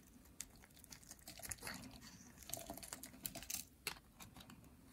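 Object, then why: Soap bar. A purple, solid, dry soap bar held in hands with long nails is scraped and carved with a metal blade over a pile of flakes. The result is a quiet run of crisp, bright scratching and crackling ticks, with a few sharper snaps rising out of a soft, steady hiss.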